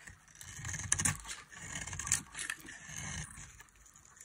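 A solid, dry orange soap bar held in the palm is scraped and carved with a metal blade, sending shavings falling. Soft, crisp scraping strokes come in uneven bursts, with bright, high-pitched grating and a few sharper clicks around the first and second seconds.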